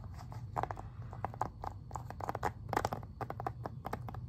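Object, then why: Plastic video game case. Fingernails tap rapidly on the back cover of a plastic Xbox 360 game case, producing a quick, irregular run of dry, hollow clicks. The clicks sit in the midrange around 850 Hz and stop almost instantly, over a steady low hum.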